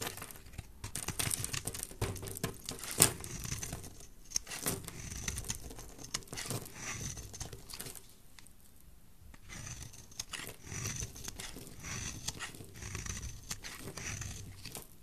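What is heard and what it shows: A utility knife blade scrapes across a solid, dry, rectangular purple soap bar with embossed lettering, held in a hand with painted nails, cracking the surface into crumbly flakes. Dense, bright scraping and crackling crunches run throughout, with a sharp snap near the 3-second mark and a brief quieter lull around 8 to 9.5 seconds before the scraping resumes.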